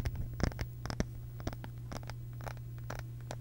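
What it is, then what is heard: Small round wooden case. Long pink acrylic nails scratch and tap a small round wooden case held close to the microphone, working over its grained face and edge. Quick, dry clicks and scrapes come sharpest in the first second, then soften into lighter scratching over a steady low hum.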